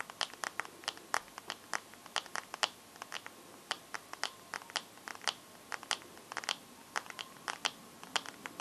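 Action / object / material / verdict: tap / glass smartphone screen with metal frame / glass / none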